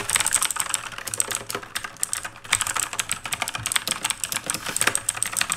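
Both hands type with their fingertips on a black mechanical keyboard with a metal top plate and plastic keycaps, sitting on a wooden desk. A steady, rapid stream of short, bright clacks is heard, each keystroke dying away almost at once, with a faint high ring on some strikes.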